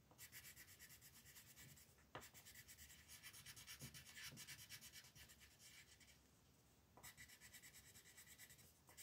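A green colored pencil shades letters on a flat paper coloring book page in rapid, scratchy back-and-forth strokes. The quiet, bright rasping comes in steady bursts, with brief lulls near 2 seconds and between about 6 and 7 seconds before the strokes resume.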